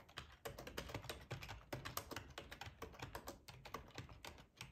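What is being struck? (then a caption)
Plastic computer keyboard. Fingertips of both hands type on a full-size black plastic ergonomic split keyboard resting on a cloth tablecloth. The quick, clicky keystrokes come in an uneven, steady stream, each with a short, dull tap and a brighter click, with no lingering ring.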